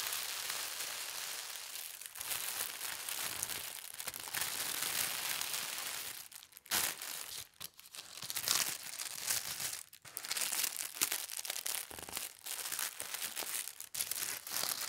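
Flat hands with long red nails rub and smooth a large, thin sheet of white tissue paper printed with gold stars as it lies flat. The result is a steady, bright, airy crinkling and rustling, broken by brief dips and sharper crackles as the paper shifts.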